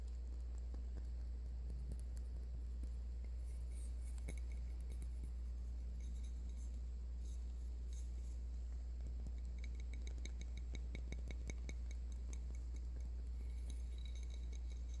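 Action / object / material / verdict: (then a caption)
tap / glass candle jar / glass / none. Light taps on the glass jar of a lavender candle make soft, bright clinks that come in loose clusters, busier toward the end. A steady low hum runs underneath throughout.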